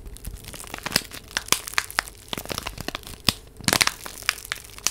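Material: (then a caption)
Paper. A small, flat purple envelope, apparently paper, is held in both hands near the microphone and crinkled and rubbed with long nails and fingertips. It gives a steady, bright, papery crackle, broken by sharp, dry crinkles and snaps that die away almost instantly. A dense burst of crackling comes near the end.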